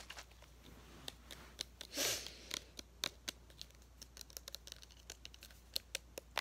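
A small, hollow green plastic bottle with a cap is held in both hands and tapped and scratched with fingertips and nails. It makes a quiet, irregular run of sharp, bright clicks and taps that stop instantly, with a brief louder scratchy rustle about two seconds in and a faint low steady hum underneath.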